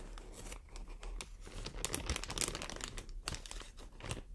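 Long nails scratch and squeeze a clear, inflated plastic air cushion packaging strip. The result is a quiet, irregular run of dense crinkling and crackling bursts with bright, sharp rustles over a low rumble.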